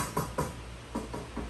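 A titanium cooking pot, the odd non-Saladmaster piece in a collection, is tapped several times, giving short, dull, low-pitched knocks that fade within a fraction of a second with little bright ring. Its tone sounds different from the rest of the set.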